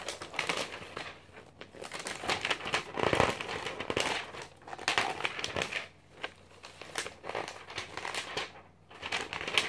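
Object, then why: Glossy paper magazine pages. A glossy paper magazine is held open in one hand while fingers with painted nails riffle and flip through its stack of thin pages. Dense, bright crinkling and crackling rustles come in rapid bursts, with short quieter gaps between flurries of page movement.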